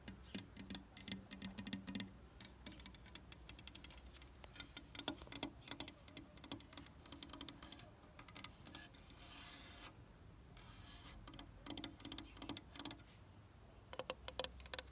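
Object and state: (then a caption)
Wooden bench tapped and scratched. Long fingernails tap and scratch along the solid slats and frame of a dark red painted wooden garden bench with worn paint. Rapid, sharp, dry taps with almost no ring come in clusters, and a stretch of broadband scratching rasp fills the middle. A faint low hum sits underneath throughout.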